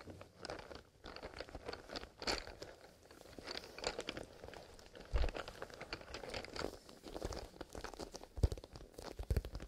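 A small, soft black leather zipper pencil case is gripped in both hands and squeezed, and bare fingertips on the leather give a steady run of crinkling and crunching handling sounds. Many short, closely spaced crackles run through the clip, with a few louder low thumps near the end.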